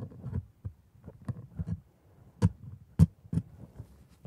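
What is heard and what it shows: A gloved hand scrapes the tooth surfaces of a plastic typodont, a lower jaw with white resin teeth on a red gum base, using a curved metal scaler. Soft, uneven low scratching and ticking runs throughout, broken by a few sharper, brighter clicks and scrapes in the second half.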